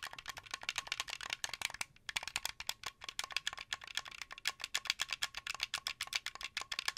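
Fingers and nails tap and click the buttons and thumbsticks of a translucent blue, hollow plastic Xbox 360 game controller. The result is a rapid, uneven stream of sharp, dry, bright plastic clicks with almost no low end, broken by a brief pause around the two-second mark.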